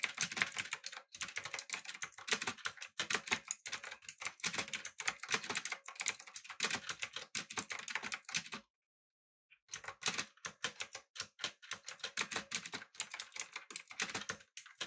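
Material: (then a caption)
Plastic. Fingertips type rapidly on a backlit typewriter-style mechanical keyboard with blue switches, an aluminum body and round plastic keycaps. A dense stream of bright, sharp clicks with almost no low end continues for about eight and a half seconds, stops for roughly a second, then resumes.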